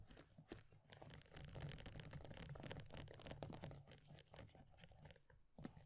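Long nails rapidly tap and scratch the base and edge of an upside-down plastic body butter tub with a pale green plastic base and paper label. The result is a dense, quick patter of dry clicks and bright scratchy rasps over a soft low rumble, with short, dead taps that don't ring.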